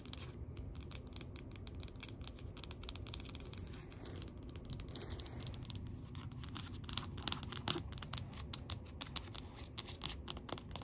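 Long acrylic nails tap and scratch quickly across the surface of a large, solid, heavy black rubber-coated bumper weight plate with orange lettering, lying flat, while a blue dumbbell rests nearby untouched. The sound is a quiet, dense stream of fast, irregular bright clicks and scratchy strokes over a soft low rumble, with each tap dying away almost instantly.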